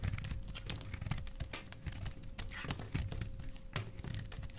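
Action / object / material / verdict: scrape / glycerin soap bar / glycerin soap / none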